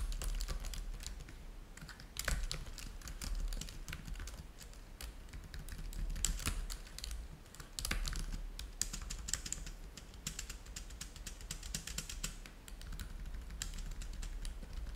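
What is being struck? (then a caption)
Plastic laptop keyboard. Fingertips of both hands type on a black laptop keyboard with plastic keys, making a steady run of quick, bright key taps that each click and die away almost at once. Louder bursts of tapping stand out over a constant low hum underneath.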